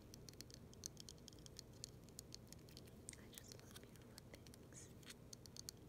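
Long silver nails tap and scratch along the thick, icicle-like arms of a large, solid, clear acrylic snowflake ornament held in one hand. A quiet, rapid string of sharp, high-pitched clicks and light scratches sounds over a steady low background hum, each tap dying away almost instantly.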